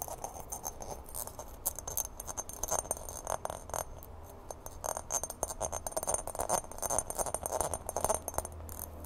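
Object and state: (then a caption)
Empty glass mixing bowl tapped and scratched. Long painted fingernails rapidly tap and scratch the rim, sides and base of a large, empty, hollow clear glass mixing bowl held up in the hands. The result is a dense run of quick, dry clicks and brief scrapes with a mid-range body and bright, high glassy edges. Each tap dies away almost instantly, over a faint low hum.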